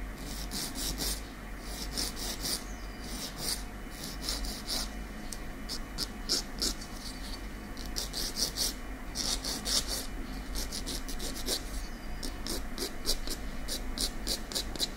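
A long natural fingernail of small, solid keratin is filed with short strokes of a slim, light-coloured nail file held in the other hand. Quick, bright raspy scratches repeat steadily over a constant low hum, with some strokes louder than others.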